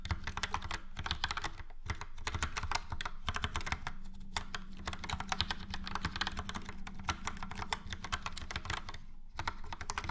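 Fingertips of both hands type steadily on a full-size plastic mechanical keyboard, a Logitech POP Keys with a yellow frame and round dark grey and light grey typewriter-style keycaps. Quick, dense clacks with bright edges ride over a low, thocky body, with brief pauses near 2 and 9 seconds. The keystrokes are short and dry, with almost no ring.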